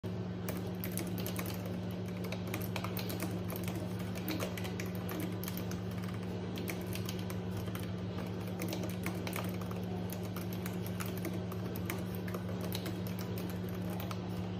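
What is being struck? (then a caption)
Plastic computer keyboard keys. Long painted acrylic nails type steadily on a pink and white plastic wireless computer keyboard with low-profile keys resting on a desk. A continuous stream of quick, light plastic clicks and taps plays over a constant low hum.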